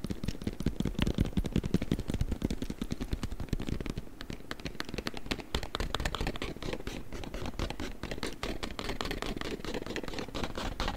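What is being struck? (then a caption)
Cardboard product box. A hollow, long narrow printed cardboard product box is held and rapidly tapped and scratched with the fingers and nails. A dense stream of short, dull hollow taps with a low thump runs through, mixed with dry scratchy rasps, keeping a steady pace throughout.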